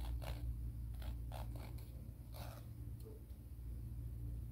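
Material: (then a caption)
Emery board. A fingernail is filed with back-and-forth strokes along a grey emery board nail file. Soft, raspy scraping bursts come and go irregularly over a steady low hum, and the whole clip stays quiet.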